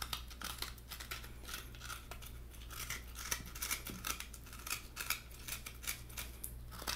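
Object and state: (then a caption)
Halved coconut, nails tapping and scratching the flesh. Fingertips and nails tap and scratch the white flesh lining the hollow shell of a halved coconut. Short, bright, crisp scratching bursts come in an irregular rhythm over a steady low hum, each dying away almost at once.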